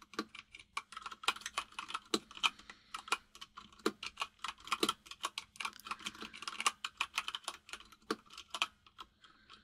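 Steady typing by both hands' fingertips on a compact plastic mechanical keyboard with white and grey plastic keycaps. Rapid, bright, clicky key taps run in an uneven rhythm with very short, dry decay. About 44 distinct taps are heard.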